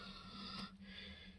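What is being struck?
Nothing is struck.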